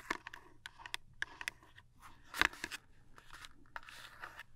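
A small cardboard toothpaste box is held upright and tapped quickly with long nails. The taps are sharp, dry and crisp, with a bright papery click centered around 1.7 kHz and almost no ring. A steady, faint low hum runs underneath.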